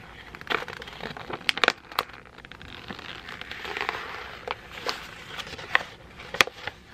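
A thin sheet of white printed printer paper is folded, squeezed and crinkled with the fingers of both hands. Sharp, bright crackles and crisp snaps stand out over a steady papery rustle, with almost no low end and each snap dying away at once.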